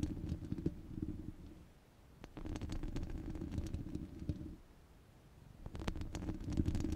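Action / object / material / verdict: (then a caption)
scrape / steel wire-mesh microphone grille / steel wire / none. Long red glitter nails scratch across the rounded, hollow steel wire-mesh grille of a microphone with both hands. The result is a dense, low, rumbling scratch with faint brighter ticks. It comes in three bursts separated by two quieter pauses.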